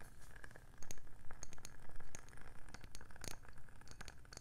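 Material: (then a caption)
Wood. A round, hollow, palm-sized wooden candle lid is tapped rapidly with long nails. The result is a quick, uneven run of short, dry clicks and light clatter that stops instantly, over a low steady rumble.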